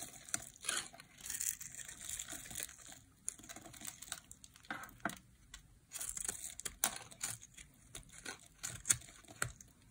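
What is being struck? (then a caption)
Bar of soap cut with a metal blade. A solid, dry, light green bar of soap held in the hand is scored and shaved with a metal blade. Quiet, crisp scraping and crackling strokes come in irregular bursts, mostly high and bright with little low end. Each stroke stops dry with almost no ring.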